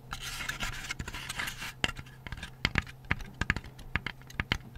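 Painted fingernails scratch and then tap along the wings and edges of a lit, hand-sized, laser-cut layered plywood butterfly night light by Hi Park, held in both hands. A dense, bright rasping scratch fills the first couple of seconds, then gives way to a series of short, crisp, dry taps with a faint steady low hum underneath.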